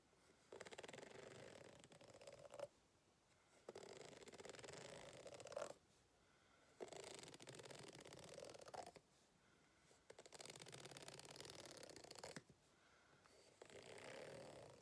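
A white plastic fork is dragged across the ridged surface of a green ribbed rubber hot water bottle, which lies flat and looks empty on a white table. Five separate passes of dry, raspy scratching are heard, with short quiet gaps between them.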